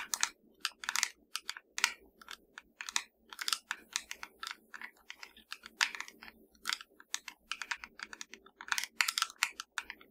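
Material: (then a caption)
Plastic. A small, hollow black plastic fireplace remote control lies flat and is tapped and scratched with the long dark nails of both hands. The result is a quick, uneven stream of dry, bright clicks and scratches that stop dead with no ring, against a faint low hum.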